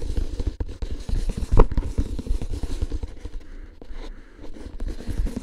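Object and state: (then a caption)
Cardboard tube can, tapped and scratched. A paper-wrapped hollow cardboard tube can with a metal lid, standing upright, is lightly tapped and scratched with fingertips on its side and lid rim. Soft, dull, low-heavy taps and faint scratchy rustles continue throughout, with one slightly louder tap partway through.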